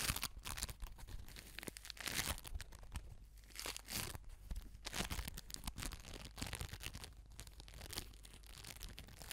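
A palm-sized orange ball of crunchy foam beads, floam-like, is squeezed, scratched and rubbed with long nails and fingertips. Dense crackling, crunching and crinkling bursts with bright, sharp edges repeat continuously over a low, steady rumble.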